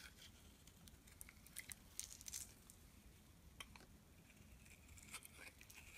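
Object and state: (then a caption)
Bar soap being shaved with a blade. A metal blade scrapes thin shavings off a solid black and white striped bar soap held in the hand. The result is a quiet series of soft, crisp scraping and crackling strokes with bright high-end detail and brief louder bursts over a low background rumble.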